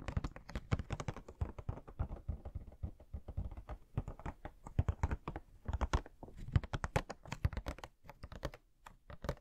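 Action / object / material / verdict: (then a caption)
tap / cardboard box with plastic window / cardboard / none. Fingernails tap fast on the plastic window and cardboard sides of a hollow Pennywise Funko Pop box with the figure inside. The result is a rapid, irregular stream of short, dull, low-pitched clicks and thuds that die away almost instantly.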